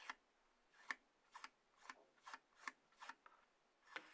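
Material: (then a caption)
Cardboard. Fingertips and long nails tap and scratch the top of a hollow, light grey cardboard iPhone box base resting on a table. Eight quiet, dry, scratchy taps with bright mid-high rasp and almost no low end die away almost instantly, separated by near silence.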